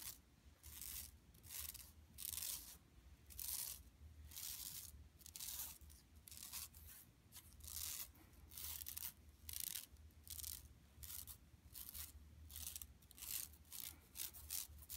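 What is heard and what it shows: Long nails scratch across an empty, flat yellow woven plastic mesh tote bag lying on carpet. Repeated bright, raspy scratching strokes rise and fall in quick bursts over a faint steady low hum.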